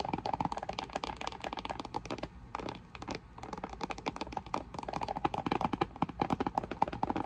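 A flat, hollow, printed cardboard box for an Intex inflatable lounge stands upright on a table and is tapped and rubbed with long nails and fingertips. Quick, dry, papery clicks and taps come in busy bursts with a hollow tone around 855 Hz. A brief, quieter rubbing stretch sits in the middle, and each tap dies away almost instantly.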